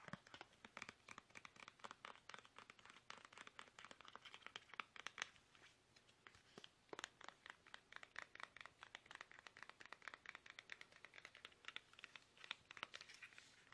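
Fingertips tap fast and steadily on a plastic toothpaste tube for the whole clip, giving a dense run of short, light, bright clicks and crinkly taps. The taps are quiet, with almost no low end, and each one dies away almost instantly.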